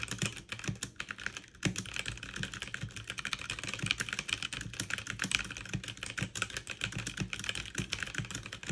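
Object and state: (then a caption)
Plastic mechanical keyboard. Fast two-handed typing with fingertips and long nails on a backlit mechanical keyboard with plastic keycaps. A dense, steady stream of bright, crisp key clicks runs throughout, each backed by a soft low thump as the keys bottom out.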